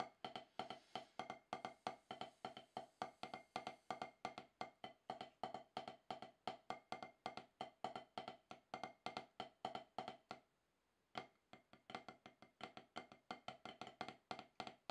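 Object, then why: Rubber drum practice pad struck with wooden sticks. Two wooden drumsticks tap rapid strokes on a solid octagonal HQ snare practice pad with a dark rubber surface. The hits are short, dry knocks centered around 750 Hz with little ring, coming at a brisk, fairly even pace. There is a brief pause near the ten-second mark before the tapping resumes.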